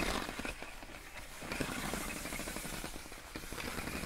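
Long acrylic nails tap, scratch and rub the ribbed surface of clear inflated plastic air column wrap around a pink box. The result is a dense, continuous crackle of quick taps and scraping rustles at a steady, moderate level, with slightly louder bursts near 1.6 seconds and again toward the end.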